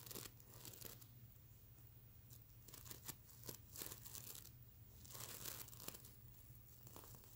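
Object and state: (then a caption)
Plastic sequin pillow scratched. Fingertips and nails scratch and brush across the iridescent plastic sequin scales of a soft stuffed mermaid unicorn plush pillow. Bright, crinkly rasps and quick clicky flicks rise and fall over a steady low hum, with louder bursts of brushing in the middle and near the end.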